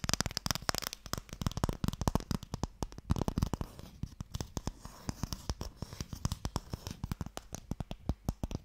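Fingernails tap fast along the lid of a small, long, hollow wooden Mikado box. A dense stream of short, dry clicks with a low hollow body and bright edges comes in uneven bursts, and each tap dies away instantly without ringing.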